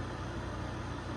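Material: Nothing is struck.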